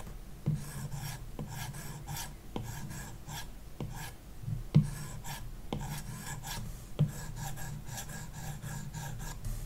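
A plastic stylus tip rubs back and forth across a large iPad glass touchscreen fitted with a matte screen protector film, shading a shape. Repeated strokes make a soft, steady rasping scratch with a bright, papery hiss over a low body, and a few sharper ticks stand out where the tip lands.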